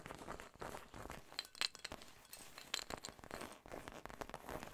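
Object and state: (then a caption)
Textured fabric zip pouch. Long painted nails scratch and tap across a small, soft, hollow cream-colored fabric cosmetic zip pouch with a puckered, seersucker-like texture and a pink embroidered monogram, possibly handling its zipper edge. The result is a dense, bright crinkly scratching with a few sharp, high clicky ticks that stop short.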